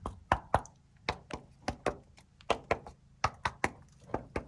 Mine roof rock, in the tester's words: just tap around, make sure there's hollow spots. You can hear them sort of echo a bit. Everything sounds pretty solid.